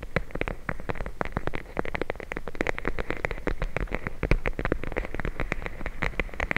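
A clear plastic bag full of teal gel beads is held over the microphone and tapped and scratched rapidly with long blue nails. The result is a dense stream of short, dry clicks and crinkly scratches with a deep low rumble beneath and a bright edge on top. The clicks come too fast and continuous to count.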